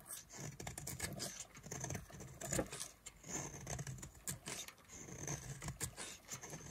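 A solid yellow oval bar of dry soap, held in a hand with long glitter nails, is carved into curls with a knife blade. Dense, crisp scraping and crackling strokes repeat in quick succession, with bright, high hiss over a soft low rumble and no ringing after each cut.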